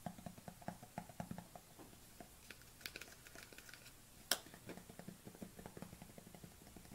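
Long nails tap the bottom and sides of a small white plastic supplement tub tilted in the hands. A steady run of quiet, hollow clicking taps fills the clip, with one sharper, brighter tap standing out partway through.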